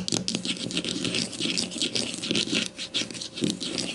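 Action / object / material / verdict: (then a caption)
scrape / plastic deodorant stick / plastic / none. Long matte nails scratch and tap quickly on a grey plastic deodorant stick lying on its side on a table, held in one hand. The result is a dense, bright, dry scratching texture with rapid light clicks and taps and little low end.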